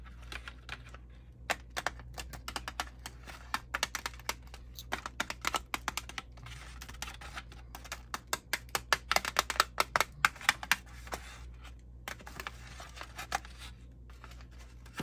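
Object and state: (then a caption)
Thin plastic chocolate tray. Long painted nails tap rhythmically with both hands on the rim and dividers of a thin, dark brown, heart-shaped plastic insert tray full of chocolates, sitting in an open cardboard box. A quick, uneven run of short, dry, bright clicks with almost no ring rises over a faint steady low hum, with brief pauses near the middle and two-thirds of the way through.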